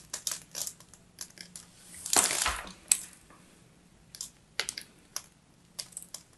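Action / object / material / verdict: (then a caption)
scrape / solid bar of soap / soap / none. A solid bar of soap, held in the hand with its pink and white striped layer exposed, is scraped and cracked with a small metal blade. Short, bright, dry scratches and crisp cracks come in irregular bursts, with one longer, louder rasping scrape near the middle and a sharp snap just after it. Each sound stops almost at once, with no ring.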